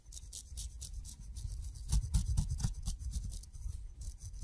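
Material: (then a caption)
Fruit skin. A steel razor blade shaves across the fuzzy skin of a whole kiwi fruit held in the fingers. It makes quick, repeated raspy scraping strokes, about two per second, each a bright, high hiss over a soft low rumble. The strokes grow louder near the middle of the clip and then ease off again.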